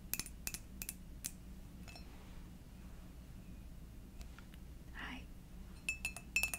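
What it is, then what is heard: Ceramic coffee mug. A white ceramic fox coffee mug, hollow and apparently empty, is tapped with long dark nails, giving short bright clinks with a high ring that dies away quickly. Taps come in a quick cluster at the start, a few scattered ones in the middle, and a fast run at the end. A low steady hum sits underneath.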